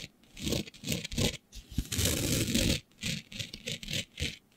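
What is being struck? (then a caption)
Flat sheet with fine glitter coating. Long beige nails on both hands scratch and rub a flat black sheet with a fine green glitter coating. The result is a series of short, gritty, bright scraping bursts with soft low rubbing underneath, including one longer continuous rub in the middle of the clip.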